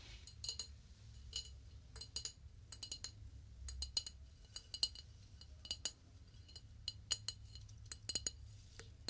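A flower vase is tapped in a quick, irregular series of light strikes that give bright, clinking, glass-like ticks with almost no ring. The taps are mostly high in pitch over a faint low rumble, coming singly and in small clusters.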